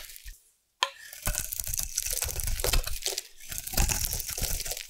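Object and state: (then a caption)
Bar soap being carved. A solid round orange bar of soap, held in the hand, is carved with a metal blade into crunchy shavings. After a faint start and a short silence, a sharp cut opens a dense run of crackling, crunching scrapes with a heavy low thud under a bright, hissy edge.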